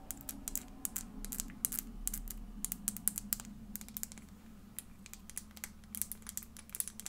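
A small glass bottle is tapped and scratched with fingernails, producing quick, irregular bright clicks and ticks that die away almost instantly. A steady low hum runs underneath.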